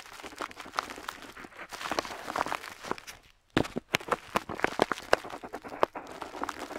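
A metal dip pen nib scratches across a flat paper map sheet lying on a table while drawing a figure. Dry, bright scratching strokes and quick ticks come in uneven bursts, with a brief near-silent pause midway before sharper, more distinct strokes resume.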